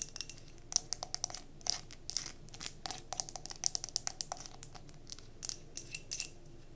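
Long nails tap and scratch rapidly on a glass mason jar candle, filled with solid cream wax and wrapped in a paper label, held in the hands. The sound is a fast, uneven run of sharp, bright clicks and brief scratchy swipes, each dying out almost at once over a quiet background.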